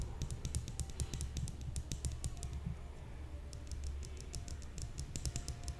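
Long painted nails tap and scratch a shiny, hand-sized metal cylinder with ridged segments and a hollow look, likely an aluminium makeup brush holder, held upright in the other hand. Quick, dry, bright clicks patter in uneven bursts over a steady low rumble, with a brief lull in the middle before the tapping picks up again. Each tick dies away almost at once.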